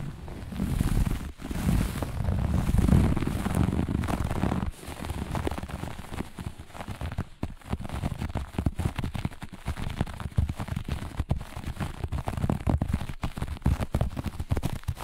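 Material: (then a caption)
Fabric. Long nails on both hands scratch the pile of a flat, looped grey-beige carpet in fast, vigorous strokes. The result is a dense, crackling, rumbly scratching that sits mostly in the low end, louder and fuller for the first few seconds. It then settles into quieter, rapid, continuous scraping.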